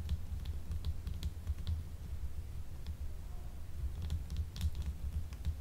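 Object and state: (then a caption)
Soap bar tapped with nails. A small, solid, translucent blue gemstone soap bar is held upright in both hands and tapped with long nails. Quick, light, clicky taps sound in irregular bursts with bright ticks over a steady low hum. Each tap dies away almost at once.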